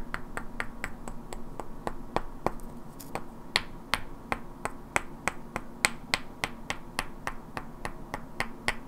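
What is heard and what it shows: Two identical hand-sized solid wooden cubes with black painted characters are held in both hands and knocked and clicked together, while long natural nails tap their edges. The result is a steady, even series of crisp, dry, bright clicks with almost no ring, over a faint low, steady hum.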